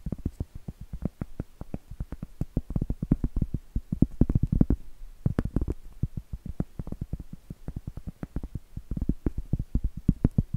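A round, flat, solid cork trivet held upright is tapped and scratched with medium coffin-shaped acrylic nails. A rapid, uneven series of dull, soft taps sits mostly in the low range, each dying away almost instantly. Denser, rougher scratching passages stand out in the middle of the clip.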